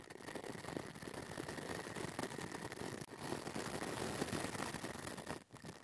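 A pink plastic brush with stiff white bristles is brushed and scratched back and forth across the hollow metal mesh grille of a small pink mini microphone. It makes a dense, continuous, scratchy rustle with a bright hiss on top. The sound breaks off briefly near the middle and dips again just before the end.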